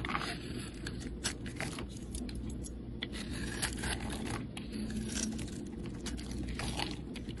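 A metal utility blade scrapes across a solid pink bar of soap held in the hand, carving off curly shavings. A steady, dry scraping continues throughout, broken by many short, crisp, crackling bursts that reach into the high range, over a constant low rumble.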